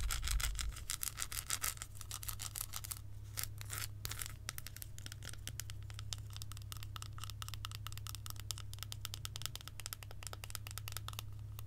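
Long acrylic nails tap and scratch an unwrapped, solid, segmented milk chocolate bar held and tilted in the hands. It makes a rapid, uneven stream of crisp, bright clicks and short scrapes. A steady low hum runs underneath throughout.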